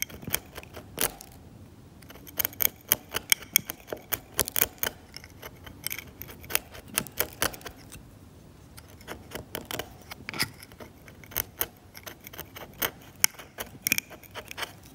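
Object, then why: Varnished oil paint layer on canvas, scraped with a metal blade. A metal scalpel blade scrapes the cracked, varnished paint layer of an oil painting on canvas, loosening flakes. Quick, bright scratches and crisp ticks come in irregular bursts, with short pauses between them. Each one stops almost at once.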